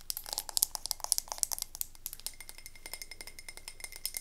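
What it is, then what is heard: Frosted glass candle jar. A medium wax-filled frosted glass candle tumbler is held up and tapped rapidly with long nails, producing a fast series of short, bright clinking glass sounds. The taps are sharp and decay almost instantly, loudest in the first half and softer toward the end.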